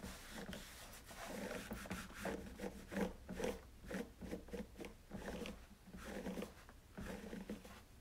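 A hand rubs a cloth over the front and side of a white, hollow plastic coffee maker body while the other hand steadies its base. The result is a series of soft, dry rubbing and scraping strokes with a hollow, low-mid tone around 180 Hz. It stays quiet throughout, with little brightness.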